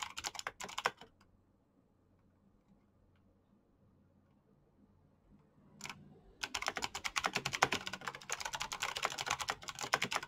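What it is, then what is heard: Plastic mechanical keyboard. Fingertips type on a black plastic mechanical keyboard with clicky switches, making sharp, bright clacks. A short burst of keystrokes opens the clip, followed by a quiet pause of about five seconds broken by a single quick tap. Fast, dense typing then resumes and continues to the end.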